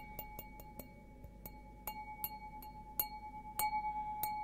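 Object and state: Glass beer goblet.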